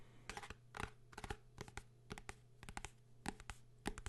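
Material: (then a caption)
Cardboard and paper. A blue hardcover book is tapped and scratched by hand, giving a quick run of short, dry taps and light scratches with a low thud. Some strokes carry a bright edge, and each one dies away almost at once over a steady low hum.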